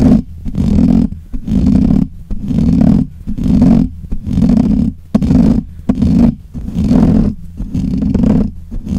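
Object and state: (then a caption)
Metal mesh microphone grille being scratched. Fingernails of both hands scratch the black hollow metal mesh grille of a desk microphone. The result is loud, close, rumbling bursts of scraping noise, heavy in the low end with a roar-like character, swelling and fading in an uneven rhythm about once a second.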